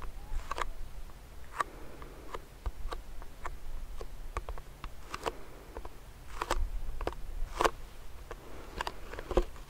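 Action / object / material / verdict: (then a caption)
tap / plastic hand sanitizer pump bottle filled with gel / plastic / none. Fingernails scratch and tap on a medium clear plastic hand sanitizer pump bottle filled with gel. Quick, sharp taps and clicks ring briefly over soft scratching and a low background rumble, with some hits landing brighter and louder.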